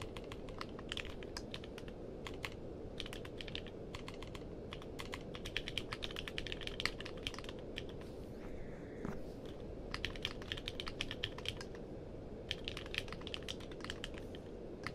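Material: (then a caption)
Plastic. Fingertips type on a compact mechanical keyboard with a purple case and plastic keycaps, producing a rapid, steady stream of sharp, bright clicks. The keystrokes come in quick bursts with brief pauses over a constant low background hiss.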